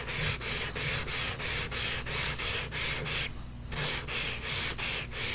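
A hand rubs short, quick strokes with a blue-and-white pastel or crayon stick across a large white paper sheet clipped flat to a drawing board while colouring an iris. Eleven bright, hissy scratching strokes come in a steady rhythm of about three per second, with a brief pause near the middle before the strokes resume.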